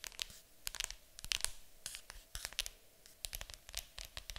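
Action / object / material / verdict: scrape / cardboard board game box / cardboard / none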